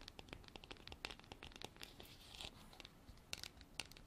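Long black artificial nails scratch and tap the sides of a hand-sized, white, frosted, textured hard plastic container that is hollow and appears empty. The result is a quiet, rapid stream of bright, crisp clicks and raspy scratches with a few sharper taps standing out. Each sound stops dead with no ringing.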